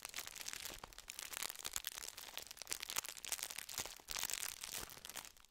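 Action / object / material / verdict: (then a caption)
scrape / plastic wrapper around biscuits / plastic / none. A gold plastic wrapper full of round sandwich biscuits is crinkled and rubbed with the fingertips close to the microphone. It makes a steady, dense stream of bright, crisp crackles and rustles, with almost no low end. The loudness rises and falls throughout, with a louder burst near the end.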